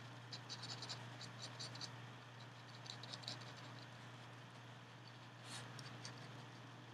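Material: Paper card.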